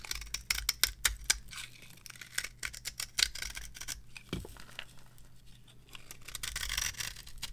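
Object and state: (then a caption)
Dry soap bar carved with a blade. A metal blade scrapes and carves the surface of a solid, dry, varnished cream soap bar resting on a palm. Quick, crisp, bright scraping and crackling strokes come in close succession over a faint low hum. They end in a longer, rougher continuous scrape.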